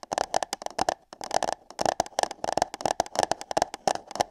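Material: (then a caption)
Paper. Long nails tap and scratch on hollow paper cups placed over a microphone's ears. Quick, irregular, dry hollow taps with a mid-pitched resonance come in dense bursts, mixed with bright scratchy rustle, with a brief pause near the one-second mark.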